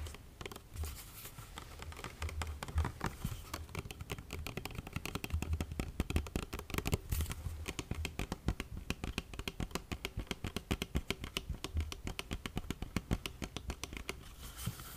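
A medium plastic lotion bottle with a yellow cap, partly full and held upright, is tapped with fingernails. Quick, dense clicking taps run throughout with a low, hollow thump beneath them and very little ring. The tapping speeds into steady bursts in the second half.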